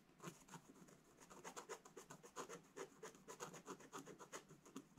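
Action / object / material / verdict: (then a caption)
scrape / scratch-art paper scratched with a wooden stylus / coated paper / none. A pointed wooden stylus scratches a black-coated scratch-art paper page in a bound book lying flat, making rapid, irregular short scratching strokes. Each stroke gives a dry, raspy scrape with a bright, hissy edge, and the strokes run steadily for the whole clip with no ring between them.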